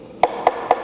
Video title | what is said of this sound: 항공정비를 이런걸로 한다고??🔧🔨🔩 공구A to Z - 7편 | 둔탁하게 우린 다 그러면 아 내부의 빈공간이 있다 라고 생각하시면 됩니다